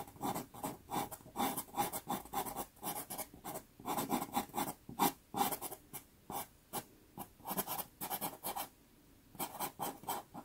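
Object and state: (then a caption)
Pastel pencil on pastel paper. A natural-wood pastel pencil strokes lines across a small, taped sienna Pastelmat pastel paper card. The result is a rapid series of short, dry scratchy strokes with bright, gritty texture, separated by brief quiet gaps.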